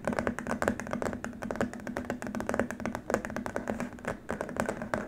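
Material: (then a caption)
Plastic. Both hands tap quickly across a long, flat white plastic keyboard wrist rest with fingertips and short nails. The result is a dense run of short, dry plastic clicks with a hollow mid-pitched tone and bright tips, with almost no ring.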